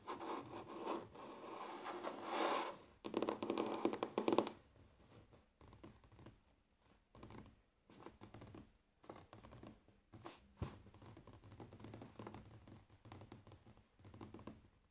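Short fingernails on both hands scratch and tap a large, flat, solid wooden tabletop up close. Dense, rasping scratches fill the first four and a half seconds, then give way to quieter, sparser taps and brief scrapes with a dry, short decay.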